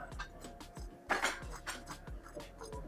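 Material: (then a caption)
Fried fish. Cutlery presses into the crispy crust of a whole fried snapper in a crunch test, giving a run of short, dry crackling crunches with the loudest burst around the middle. The crust sounds crisp, though the bite later turns out softer than it looked.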